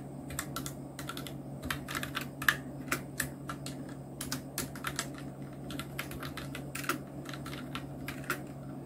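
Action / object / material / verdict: tap / plastic mechanical keyboard keys / plastic / none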